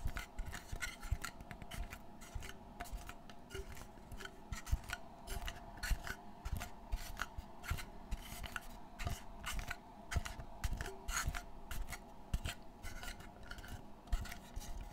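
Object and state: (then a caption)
Textured board being scratched. Fingertips scratch and rub across the textured surface of a dark brown board set in a wooden frame, making a steady run of dry rasping strokes. The short, bright scrapes repeat rapidly over a low rumble and a faint steady hum.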